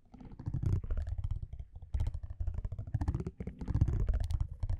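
A metal tweezer-like tool scratches across the orange printed back of a thin cardboard baseball trading card held in one hand. The result is a dense run of soft, low, rumbling scrapes and quick clicks with almost no ring. Short brighter crackles spike through the scraping.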